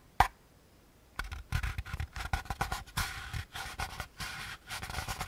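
A hand-sized, hollow beige molded paper pulp packaging insert is held edge-on while fingertips scratch and tap its rim and rough outer surface. One sharp tap is followed by a pause, then a dense run of dry, papery scratches and soft taps with a low thump and a bright, crackly edge.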